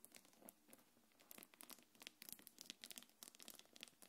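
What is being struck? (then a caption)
Quilted faux-leather bag with metal chain. Long nails scratch and rub a small black quilted faux-leather belt bag and its gold metal chains. The result is quiet, bright, crackly scratching dotted with many quick, sharp clicks and ticks from the chains, with almost no low end.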